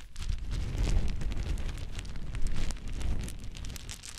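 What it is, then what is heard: Pile of small wooden cubes. Many small solid wood cube chips are scooped up in cupped hands and poured back onto a pile of small wooden cubes. The result is a dense, continuous clatter with a heavy low rumble and scattered bright clicks. It swells around the middle and then eases off.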